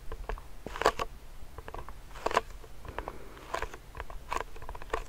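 A medium clear plastic hand sanitizer pump bottle filled with gel is scratched and tapped with fingernails. Short, dry clicking taps around 1 kHz mix with soft scratchy rustling and a low rumble underneath. A few taps stand out louder than the rest, and each dies away almost instantly.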